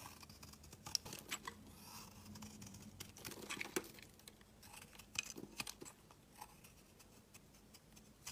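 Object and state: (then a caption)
Bar of soap being carved. A utility knife blade shaves a solid, pale yellow, curved, hand-sized bar of soap, peeling slabs off it. The sound is quiet, bright scraping and crisp little clicks and crackles, with short sharp snaps as the pieces come away.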